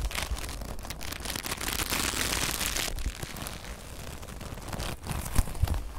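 A soft, flexible brown leather (possibly faux leather) jacket sleeve is held in the hands close to a handheld recorder and crumpled and rubbed with long nails and fingertips. The result is a steady crinkling, scratching rustle with a brighter, denser stretch in the middle. A few sharper creaks and taps come near the end.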